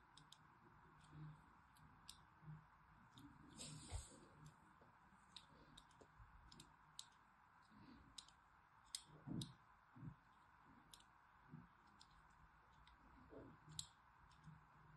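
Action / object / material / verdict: scrape / bar of soap scored with a needle / soap / none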